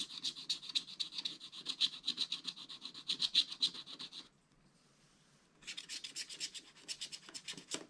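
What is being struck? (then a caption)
Scratch art paper card scraped with a wooden stylus. A wooden stylus scrapes the black coating off a scratch art page in a small spiral pad lying flat, revealing the gold layer beneath. Quick, bright rasping strokes repeat about four times a second, stop for just over a second, then resume in the same continuous scratch-and-rub rhythm.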